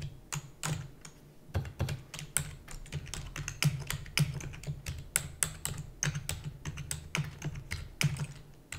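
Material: Plastic.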